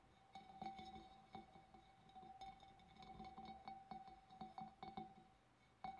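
A large, hollow, empty clear glass fish bowl is tapped by both hands' long black nails along its wavy rim and sides. The result is a quick run of light glassy clinks, each with a short bright ring around 780 Hz that fades fast.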